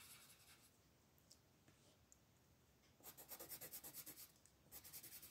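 A red colored pencil held in the fingers colors a thin paper coloring sheet lying flat on a wooden table, rubbing and scratching it with short repeated strokes. The first three seconds are a faint, soft rubbing; then a quick, fairly regular run of louder, bright, dry scratches follows, with a brief pause near the end before the strokes resume.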